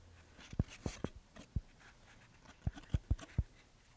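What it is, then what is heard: Paper paint swatch fan deck. A paper paint swatch fan deck is held up and split open, its paper strips spread and handled with fingers and nails. Quiet, irregular, dull low taps and brief clicks sound over faint rustling, each dying away almost at once.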